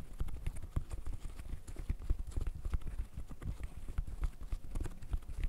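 Fingertips in fishnet gloves rapidly pop the bubbles of a green silicone pop-it fidget toy. The result is a dense, quick stream of short, dull, low-pitched pops that die away almost instantly.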